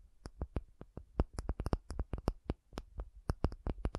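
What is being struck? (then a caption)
Acrylic object. An acrylic object is tapped in a quick, uneven run of about 23 short, dry taps over four seconds. Each tap has a soft low thump with a faint bright click and dies away almost at once.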